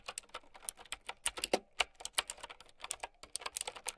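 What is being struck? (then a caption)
Plastic mechanical keyboard. Fast typing with long nails on a plastic mechanical keyboard with round keycaps gives a rapid, uneven run of about 25 short, bright plastic clicks and clacks. Each keystroke is crisp and dies away almost at once, with very little low-end weight.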